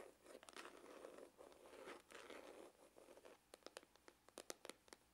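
Fingernails scratch the rounded side of a hollow, dark grained faux-leather hard glasses case with a red emblem. Dense, papery scratching strokes with a hollow midrange body come in short bursts for the first few seconds. They then give way to a series of sharp, separate bright ticks and scrapes.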